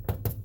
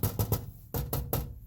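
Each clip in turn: First: Two dull, low thumps around 110 Hz that die out fast, with no buzz or rattle after them. Second: Six quick taps in two sets of three give short, low, buzzy knocks: a loose part rattling inside a metal door.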